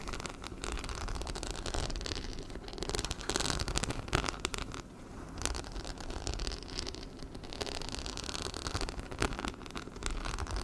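Fingernails rapidly scratch and tap over the metal-set rhinestones on a small, black, hollow fabric handbag held in front of the mic, making a dense, crackling patter like rain on a surface. The texture stays busy throughout, with a heavy low end and occasional sharper bright clicks standing out.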